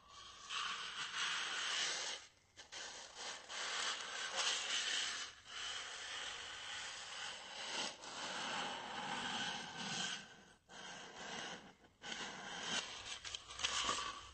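A small, solid white styrofoam block, held horizontally, is rubbed and scratched with fingertips and nails. It makes a continuous bright, squeaky scraping with almost no low end, broken by a few brief pauses.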